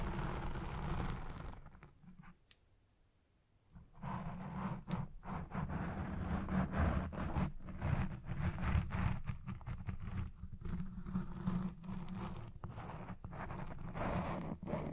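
Fingers and nails scratch the side and top of a black foam windscreen on a Blue Yeti Pro microphone while it records. The result is a dense, rough, muffled rustling and scraping that sits mostly in the low range. A near-silent pause falls around 2.5 to 4 seconds, then the scratching resumes steadily.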